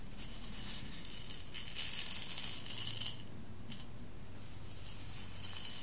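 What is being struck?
Roasted coffee beans on a glass plate.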